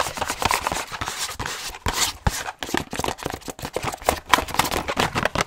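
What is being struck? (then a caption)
Small cardboard box. A small, hollow printed cardboard box of Optico 60 lens cleaning wipes, held close to the mic, is tapped and scratched fast with long nails and fingertips. The result is a dense run of dry, crisp clicks and scratchy bursts with bright hiss and almost no ring.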